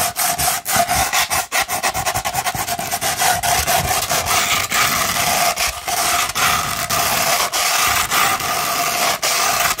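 A sandpaper sheet, first rolled and then laid flat, is scratched with long pointed nails. Dense, gritty scratching runs throughout in quick repeated strokes, with a bright rasping hiss and a steady band around 700 Hz.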